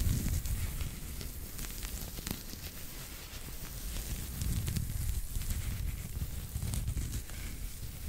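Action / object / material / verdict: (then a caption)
scrape / knitted fabric toy / knitted yarn / none. A pink knitted fabric pig toy is held close to the microphone while its knit surface is scratched with fingertips and nails. The result is a steady, soft scratching and rustling with a heavy low rumble and scattered bright, crackly clicks.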